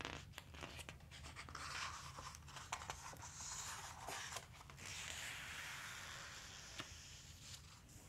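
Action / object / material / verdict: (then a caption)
scrape / glossy paper book page / glossy paper / none. Fingertips slide and rub across the printed glossy pages of a large open dinosaur book, then turn a page. The result is a steady, bright, dry hiss of skin on slick paper, scattered with short sharp ticks and a low, soft background rumble, ending in a smoother, drawn-out paper sweep.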